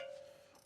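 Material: Steel.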